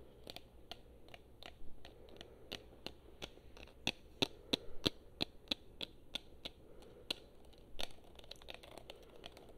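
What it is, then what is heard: Plastic game controller. Long painted nails tap and click on a black plastic PlayStation-style gamepad, hand-sized and hollow, held in both hands. Crisp, dry ticks with bright edges come at an uneven pace, some louder and sharper than others. They fall over a low, steady background hum.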